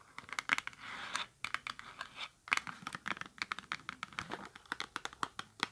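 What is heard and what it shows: Long acrylic nails scratch and tap a small holographic cardboard product box. Brief rasping scratches mix with a rapid series of sharp, dry, bright clicks, each stopping instantly with almost no low end.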